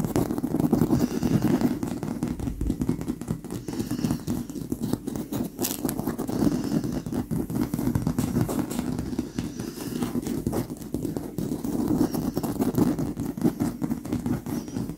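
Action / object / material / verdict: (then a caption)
scrape / stuffed leather pillow / leather / none. Gloved hands with very long acrylic nails scratch and tap near the top of a large, soft, stuffed and squishy white leather pillow. The result is a steady 15 seconds of dense, crackly scratching and rapid soft tapping, with a warm low-mid body and little high-end brightness.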